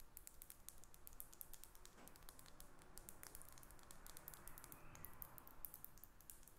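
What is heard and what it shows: Long nails rapidly tap and scratch a small faceted glass perfume bottle with a silver cap, held in the hands above a paper sheet lying on a table. The result is a quiet, steady stream of short, bright clicks with soft scraping between them.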